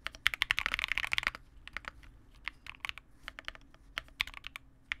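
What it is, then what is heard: Plastic mechanical keyboard. Two hands type continuously with the fingertips on a Vega65, a small 65% mechanical keyboard with re-lubed Cobalt switches, white plastic keycaps and a dark case. It produces a quick, dense run of bright, crisp clacks centered around 2 kHz, then slower, separate keystrokes. Each keystroke stops almost instantly, with very little low end.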